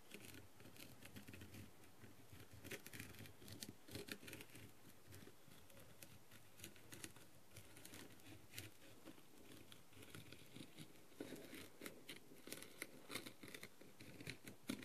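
A plastic-tipped tool scratches and taps across the gem surface of a blue, plastic, rhinestone-covered masquerade mask. The result is a soft, steady patter of quick scratchy strokes and bright little clicks over a low, muffled rustle, all at a quiet level.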